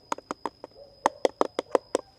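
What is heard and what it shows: A durian in a basket is knocked in a quick series of short, dry taps, each with a hollow mid-pitched body around 520 Hz and almost no ring, over a faint steady high tone. The loose, hollow rattle of the knocks marks the fruit as mature and ready to cut.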